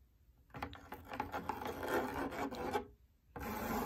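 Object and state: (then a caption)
Fabric drum lampshade being scratched. Long nails scratch across the surface of a large, lit, hollow cylindrical fabric drum lampshade, making a dry, raspy rubbing with quick irregular strokes. The scratching runs for a couple of seconds, stops briefly, then resumes as a steadier, brighter rasp.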